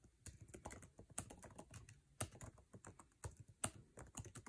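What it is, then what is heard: Laptop keyboard being typed on. Fingertips type on a MacBook Air keyboard with plastic keycaps in an aluminum chassis, producing a rapid run of about twenty short, dry key clicks. Each tap has a low thump and a bright snap. A few strokes land noticeably harder than the rest.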